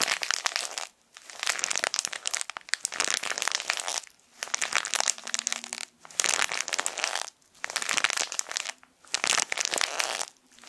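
A small plastic-wrapped tissue packet of printed plastic film is squeezed and crinkled with the fingers of both hands. The result is dense, bright crackling in repeated bursts of roughly a second each, separated by short quiet pauses.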